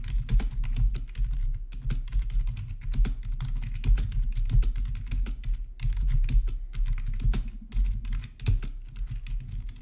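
Both hands type with their fingertips on a plastic RGB membrane keyboard with black plastic backlit keycaps, resting on a marble surface. A steady, rapid stream of soft keystrokes produces dull, low thumps with short decays, and brief bright clicks stand out above them. The typing continues throughout with small pauses in the rhythm.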